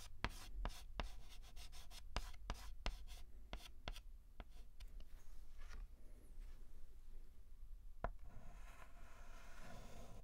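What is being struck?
Chalk stick on a chalkboard.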